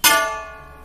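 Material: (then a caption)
Brass. A brass utensil is struck once, giving a bright metallic ring centered in the upper mids with stacked high overtones. The tone fades within about a third of a second, showing brass rings with less resonance than bronze, which helps tell the two alloys apart.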